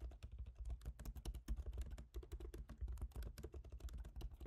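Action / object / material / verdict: tap / laptop keyboard, plastic keys in aluminium body / plastic / none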